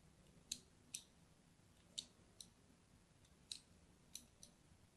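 A solid pink-and-white striped soap bar, held in the hand, is scored and cut with a thin blade. Seven quiet, sharp, bright scratching clicks come at irregular intervals, each dying away almost instantly over a faint low background hiss.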